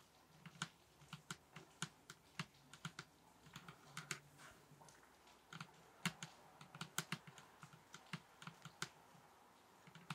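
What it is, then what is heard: Table top tapped with fingers. Fingers tap on a table top in a quick, irregular run of soft, dry taps. Each tap has a low, bassy thump with a bright clicky edge and dies away almost at once over a faint background hiss.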